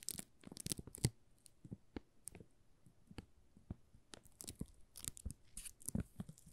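A solid pink "Rose" soap bar in a plastic film wrap is held in both hands while the fingertips crinkle and scratch the film. Quiet, sharp crackles and brief scratchy bursts come in irregular clusters, some with a bright, crisp edge, and each snap dies away almost instantly.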